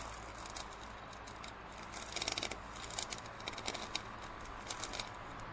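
Fingernails scratch and tap near the blue base of a large, hollow, printed plastic drinking cup held tilted with its base down. The result is a run of quick, bright, scratchy clicks and taps that die away almost instantly, clustered in the middle of the clip, over a steady low background hum.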